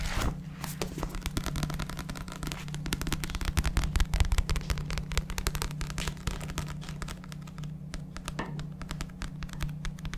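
A paperback book is held upright in front of a microphone while fingertips tap and scratch its glossy paper back cover. Quick, uneven, dry taps and scratchy strokes run throughout, over a steady low hum.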